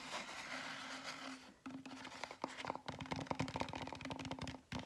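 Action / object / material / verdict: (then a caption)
scrape / styrofoam foam cup with lid and straw / styrofoam / none. A large styrofoam drink cup with a lid and straw is rubbed and scratched on its side with fingers and nails. A steady, hissy rub runs for the first second and a half, then a brief gap gives way to a quick series of sharp, dry scratches and squeaky scrapes. A faint steady tone near 260 Hz sits under the sound throughout.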